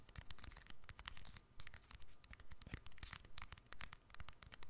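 A small, hollow black-and-silver keypad mobile phone with a plastic casing is held in both hands over the microphone and tapped and scratched with long fingernails. Rapid, uneven clicks and scratchy scrapes sound quiet and close, with bright clicky ticks over a soft low rumble of handling.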